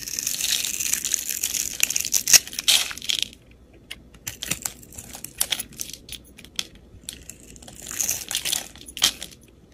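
A metal utility blade cuts a grid into a solid cream soap bar held in the hand and scrapes it, so small cubes crumble off. Bright, dry scraping and crunching fills the first three seconds. Scattered short crackles and ticks follow, then a second scraping burst comes near the end.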